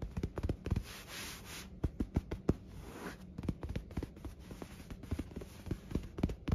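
Fingertips scratch, rub and bunch a white cotton bed sheet, soft flat fabric, lying on a hotel bed. Quick, dull scratching ticks are heard, heavy in low thumps, broken up by short smoother rubbing swishes with a faint high hiss. The sounds are close and quiet, and each ends almost at once.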